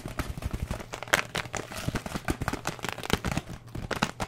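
A filled paper-and-plastic oat flakes bag, its top folded open, is held in the hands and crinkled and squeezed with the fingertips. Dense, irregular crackling and rustling bursts run throughout, with brief bright crinkles over a soft low rumble and no clean pauses between them.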